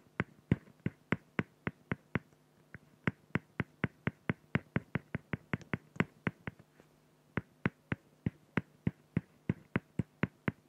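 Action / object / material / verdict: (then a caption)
scrape / felt-tip pen on acrylic plexiglass sheet / acrylic / none. A felt-tip pen makes dense, rapid hatching strokes on a flat, clear acrylic plexiglass sheet, producing about 39 sharp, clicky, scratchy taps that stop almost instantly. The strokes come in a quick, fairly steady rhythm with one short pause near the seven-second mark, over a faint low hum.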